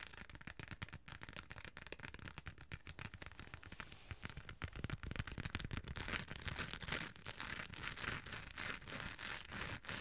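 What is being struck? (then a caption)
Small hard cosmetic case with glitter coating. Long nails scratch and tap the textured gold glitter sides of a small, hollow, rectangular hard cosmetic case with a beige top. The result is a dense, crackly stream of quick scratches and short ticks with a bright hiss. It grows fuller and louder over the second half.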